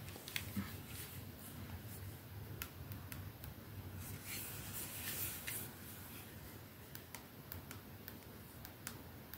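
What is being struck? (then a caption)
Glass perfume bottle with metal band. Long nails slowly tap and scratch a 212 capsule perfume bottle held up in both hands, touching its clear glass ends and silver band. Quiet, sharp, bright clicks ring briefly over a steady low hum, with a softer scratching hiss swelling in the middle.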